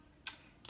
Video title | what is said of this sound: DIY Floral Pumpkins | you can kind of tell that this is like foam this isn't hollow like when you knock on it it's not hollow sounding